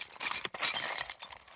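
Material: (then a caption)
Slate. Loose slate pieces in an old slate quarry knock and clink together in a quick, continuous clatter. The sound is bright and high with a brittle, glassy ring.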